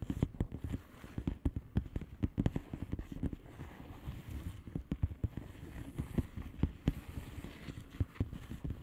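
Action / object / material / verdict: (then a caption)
tap / plastic bubble wrap envelope / plastic / none. Long fingernails on both hands tap across the bubbles of a flat blue plastic bubble wrap envelope. The taps come in a quick, uneven stream of soft, dull thuds, each with a faint crisp click at its start and no ring afterward, over a low, muffled rustle.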